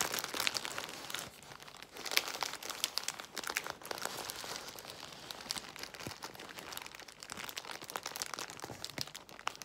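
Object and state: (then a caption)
Plastic bubble wrap. A large crumpled bundle of clear plastic bubble wrap filled with air bubbles is scratched, pressed and squeezed by long white nails and fingertips. The result is a steady, bright crinkling and crackling texture, dotted with sharp, short snaps and almost no low end.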